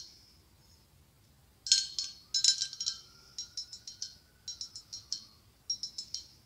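After a quiet second and a half, long acrylic nails tap near the top of a hollow white blown-glass pumpkin with a gold stem. The taps come in uneven bursts of bright, thin glassy clicks with a high ring that dies away quickly.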